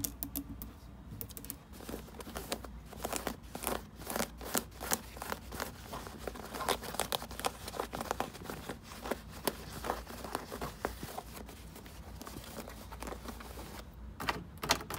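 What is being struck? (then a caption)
Denim jeans. Fingertips and long red nails scratch and rub across the pocket and seams of light blue denim jeans folded in a wooden drawer. Dense, rapid, dry rasps and scratches form a continuous crinkly texture with bright edges over a faint steady low hum. Brief louder scrapes stand out near the end.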